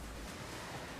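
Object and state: Nothing is struck.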